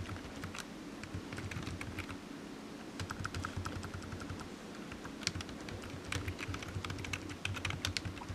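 Fingertips of one hand type on a solid, black low-profile plastic computer keyboard resting on a desk mat. Quick, light key clicks come in uneven bursts, each short and bright with almost no ring, over a steady low hum. The typing thins out briefly in the middle, then picks up again with sharper taps toward the end.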